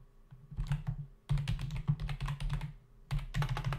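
Fingertips of both hands type fast on a full-size black plastic membrane computer keyboard with hollow keys, resting on a desk. Rapid, soft, hollow clacks and low thumps come in dense bursts, with brief lulls in between. Each keystroke dies away almost at once, with a slight bright click on top.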